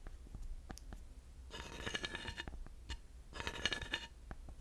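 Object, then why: Grooved wooden panel tapped and scraped with a thin wooden dowel. A thin wooden dowel taps on and scrapes over the ridges of a flat, solid, grooved wooden panel. Scattered sharp taps come through over a low rumble, interrupted by two bursts of bright, rattling scraping at about 1.5–2.5 s and 3.4–4.0 s.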